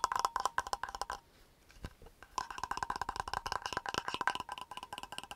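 Fingertips tap quickly on the silver metal screw cap and body of a medium, empty clear plastic water bottle, and the lid is opened and closed fast. Rapid, dry clicking taps ring near 1 kHz in two bursts, with a short quiet gap of softer scraping between them.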